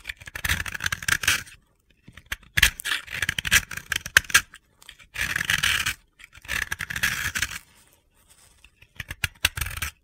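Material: Compressed powder.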